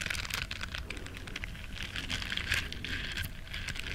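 Long nails scratch and rub the soft bristles of a small, flat, solid yellow silicone duck-shaped body scrubber. The result is a dense, steady stream of crisp, bright scratchy crackles over a soft low rumble, with fine ticks running together throughout.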